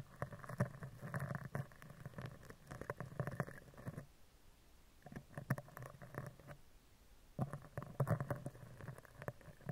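A spoolie brush is scratched down the right side and then the left side of a hollow steel mesh microphone grille, giving close, dense scratchy rustling in separate bursts with quiet gaps between them. The sound is low and hollow, with a droning resonance around 130 Hz and bands of texture up to the mids, while the bristles add faint, bright ticks.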